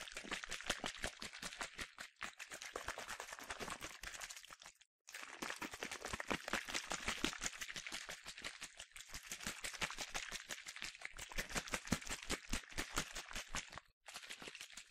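A medium yellow Soltan plastic sunscreen spray bottle with a translucent cap, hollow and partly filled with liquid, is shaken quickly in one hand. It makes a rapid, bright stream of sloshing, rattling clicks. The shaking stops briefly near the 5-second and 14-second marks.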